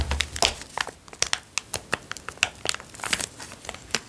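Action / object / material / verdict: scrape / small plastic zip-lock bag / plastic / none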